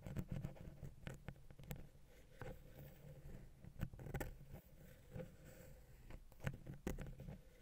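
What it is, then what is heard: Metal microphone capsule tapped and scratched. A wooden ear pick taps and scratches the small, hollow silver metal X/Y microphone capsule on a Zoom H6. The result is quiet, irregular close-up patter: dull, low thumping taps with short clicky transients, set against soft scraping that stays mostly in the low range.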